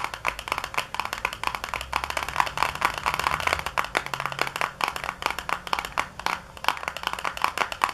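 Long nails tap rapidly on the flat back panel of a small white paperboard box lying on a granite counter, the box hollow with contents inside. The taps are quick, dry, hollow clicks centred around 1 kHz with bright edges, dying away almost instantly. They run in uneven bursts, some harder and some softer, with a faint low hum underneath.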